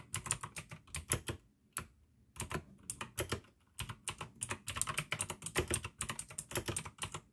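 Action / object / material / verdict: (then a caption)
tap / plastic mechanical keyboard / plastic / none. Fingertips type fast on the keycaps of a full-size pink plastic AUKEY mechanical gaming keyboard with RGB backlight, clicky blue switches and a hollow case. Bursts of bright, sharp clicks with a low thocky undertone come in quick runs, broken by a couple of short pauses.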